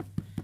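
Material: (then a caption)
Bread. Two dull, low taps on the base of a freshly baked loaf of white soda bread, turned out upside down onto a tea towel. Each tap is a short, hollow thud with almost no ring, showing the golden-brown bread is baked through.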